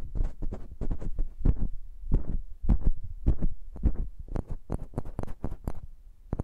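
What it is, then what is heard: Metal microphone tapped with fingernails. Long manicured nails and fingertips tap and click on the metal caps and hollow cylindrical bodies of two identical slim silver metal microphones with grilles, set up as a stereo pair. The result is a quick, irregular run of deep, boomy thumps with short, bright clicking edges that sound sharper toward the end.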